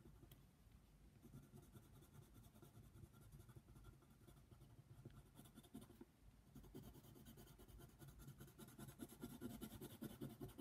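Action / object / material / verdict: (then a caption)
scrape / coloured pencil rubbed on a paper colouring page / paper / none. A yellow colored pencil tip rubs and scratches in small strokes across a flat paper coloring book page, coloring a giraffe. The quiet, steady scratchy rasp is weighted toward the low end and grows louder and denser in the second half.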